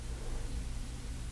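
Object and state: Nothing is struck.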